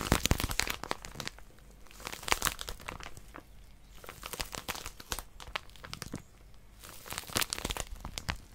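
Long nails grip and scratch a small white plastic-wrapped paper packet with a barcode and pink outline, held upright. Sharp, bright crinkling and crackling comes in dense bursts, separated by quieter stretches of soft rustling.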